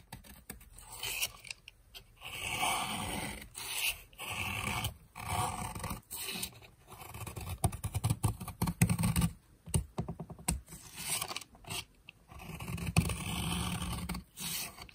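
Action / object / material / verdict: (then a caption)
scrape / soap bar scraped with a metal blade / soap / none. A metal blade carves a long, solid red bar of dry soap, scraping off brittle flakes. Repeated gritty scraping strokes come in short bursts separated by brief pauses, with a dry crackle that reaches into the high range over a low, rough body and little ring.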